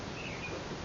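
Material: Nothing is struck.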